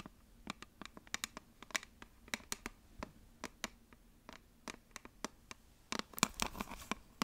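Long nails scratch and tap a flat rectangular eyeshadow palette with a printed cardboard or plastic case, held in both hands. About twenty-two short, dry, bright clicks and scratches sound with no ring, sparse at first and bunching into denser, louder scratching near the end over a faint low hum.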